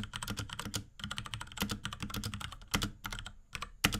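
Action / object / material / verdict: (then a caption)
tap / plastic mechanical keyboard / plastic / none. Fingertips of both hands type rapidly on a small pink Akko x Ducky 3084 mechanical keyboard with Cherry MX Brown switches, plastic keycaps and a plastic case. A dense, uneven run of short, dry clacks mixes bright key clicks with a low thocky body, with a few louder strokes standing out. Each press dies away almost instantly.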